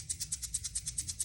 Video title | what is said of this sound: #Cricut cake Topper Supply List #beginner #cricut #cricutcrafts | this is just for the noise like the shaker when you're shaking it